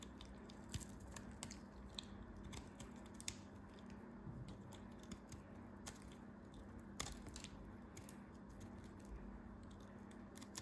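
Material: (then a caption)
Soap. A metal craft knife carves and shaves a small, solid cube of dried multicolored soap coated in gold glitter, held in the fingers. The cuts make quiet, crunchy scraping sounds with bright, sharp clicks scattered throughout, over a low steady hum.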